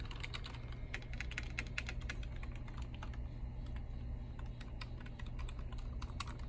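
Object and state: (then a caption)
Plastic computer keyboard being typed on. A black and silver plastic desktop keyboard on a library desk has its hollow keys pressed and tapped by bare fingertips in a typing motion. The result is a rapid, continuous run of short, crisp clicks over a steady low hum.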